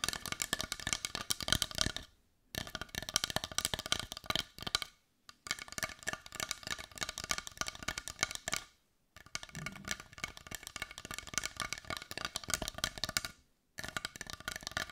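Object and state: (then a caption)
Carved wooden heart. A brown carved wooden heart that looks solid is held in one hand and tapped on its rounded edge with long nails. Rapid, dry, bright clicking taps come in dense bursts, with a few brief silent pauses between runs, and each tap dies away almost instantly.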